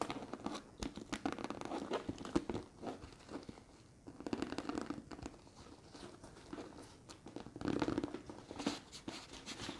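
Long red nails scratch and tap the flat side of a large, hollow, structured brown leather handbag with a leather handle and metal ring. The result is a dense run of soft, dry scratching and crinkly scuffs, with light clicky taps and short swells of louder raking in the low-mid range.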